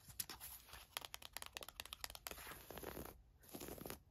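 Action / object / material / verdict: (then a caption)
scrape / thin woven fabric camisole / woven fabric / none. Long nails scratch and rub the surface of a thin navy floral woven fabric camisole top. The sound is a quiet run of quick, bright, dry scratches and crinkly rubs, many separate ticks followed by steadier rubbing hiss that fades and returns.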